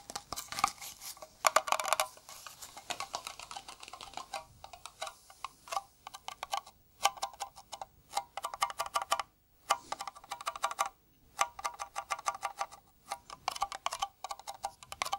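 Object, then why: Round metal tin lid. A hollow, round blue Nivea metal tin, held in a gloved hand, is tapped on its lid with bare fingertips. The result is rapid bursts of light, dry taps with a tinny tone near 1.2 kHz and a bright edge. The taps stop almost instantly, with brief pauses between flurries.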